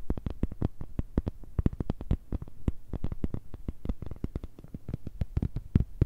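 An empty, transparent, thin plastic smartphone case is held in both hands and tapped rapidly with long red nails. It gives a dense, uneven stream of short, dry clicks with low, hollow thuds underneath, and each tap dies away almost instantly.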